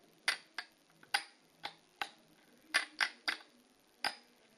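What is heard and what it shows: Long polished fingernails tap and scratch the tops and edges of two short stacks of colored plastic poker chips (solid discs) on a fabric-covered table. Nine sharp, bright clicks come at an uneven pace, each dying away almost at once, with quiet between them.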